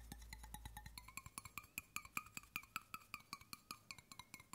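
Fingertips tap quickly on the base and side of a hollow stainless steel water bottle in a steady, slightly uneven run of light taps. Each tap is a short, bright metallic tick with a brief tonal ring around 1.2 kHz and 2.4 kHz, getting a little louder partway through.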